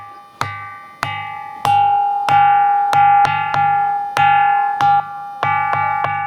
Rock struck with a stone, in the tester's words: అంటే మనం ఒక కంచును కొట్టినట్టుంది. సేమ్ కంచు శబ్దం వస్తుంది.